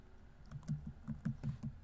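Fingertips tap the plastic keys of a laptop keyboard at a steady pace, making seven short, soft, low clicks. Each tap is a dull thud with a faint bright tick that dies away almost at once.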